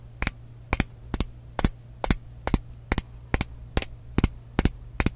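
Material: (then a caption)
Glass. Long nails tap on the body of a frosted glass mist bottle with a metal cap, giving twelve sharp, bright clicks, some doubled, at a steady pace about every 0.4 seconds. Each click stops almost instantly over a quiet, steady low hum.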